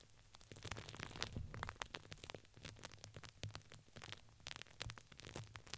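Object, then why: Fabric ring with crinkly filling. Long pink nails scratch and tap the sides of a purple printed fabric ring with crinkly filling wrapped around a microphone. The result is a dense run of quick, dry crinkles and taps over a soft, noisy bed. The bright crackle sits above a low thump, and each sound stops almost at once.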